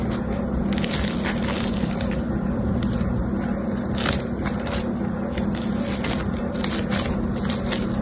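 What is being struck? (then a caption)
Foam bead slime (floam). Yellow-green foam bead slime (floam) is stretched until strands show, then squished and flattened by fingertips. A steady, dense crackling and crunching runs throughout, with a low rumbling bed under scattered bright, sharp pops.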